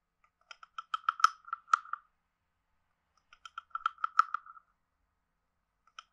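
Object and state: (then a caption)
Wooden frog guiro. A wooden stick is scraped along the ridges of a hand-sized, hollow, carved wooden frog guiro. It makes two runs of quick, dry, ratcheting clicks with a hollow midrange tone and bright edges, separated by a pause. A brief third run starts at the very end.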